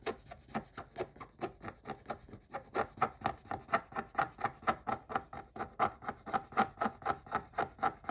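A wooden stick scratches a scratch-off coated paper scratch-art page in about 34 quick strokes, roughly two per second at a somewhat uneven pace. Each stroke is a short, dry, raspy rub with a midrange tone and a thin bright hiss, stopping almost at once with no ring.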